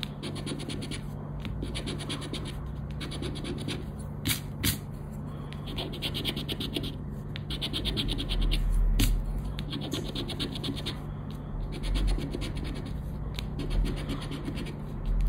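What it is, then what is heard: Paper scratch card being scratched. A round black plastic scraper rubs across a thin paper "10 Para Ganhar" scratch card resting on black cloth. It makes a steady, rough scratching texture, broken by a few brief, sharp, brighter scrapes, over a constant low hum.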